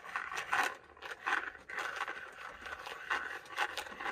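A small, round, hollow plastic Ice Breakers mint tub, probably holding mints, is held in the hand and scratched and tapped with fingertips and nails. Dry, scratchy scraping bursts mix with light taps, centered in the upper midrange with some bright edge and no low end. Each sound dies away almost instantly.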